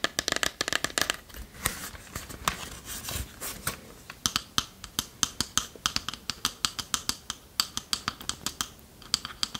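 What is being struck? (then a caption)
Small varnished wooden chest. Long nails tap and scratch the wooden front and lid of a small, hollow, varnished wooden chest with metal corner fittings and a latch, held in the hands. The first seconds bring dense, brushy scratching and quick clicks, then dozens of crisp, evenly spaced taps. Each is bright and very short with almost no low end or ring.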